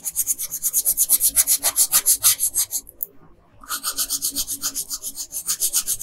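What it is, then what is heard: Colored pencil shading on paper. A pink/red colored pencil rubs back and forth across a flat paper coloring page, shading the lower part of a dress. It makes quick, rhythmic, bright scratchy strokes at about three to four per second, pauses briefly just past the halfway point, then carries on at the same pace.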